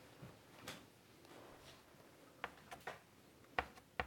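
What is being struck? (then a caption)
Chalk on a wooden-framed chalkboard. White chalk is scratched across the dark surface of a large wooden-framed chalkboard lying flat, drawing curves. Faint, soft scratching strokes build into seven short, sharper chalk strikes, with the loudest, brightest taps clustered near the end. The whole clip stays quiet, with little low rumble.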